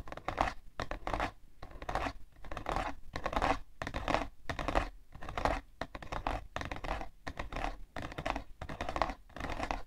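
Long nails scratch the side panel of a hollow, printed cardboard tissue box in a steady series of short, raspy strokes separated by brief pauses. The scratching is dry and papery, centered in the midrange with a faint hollow low undertone.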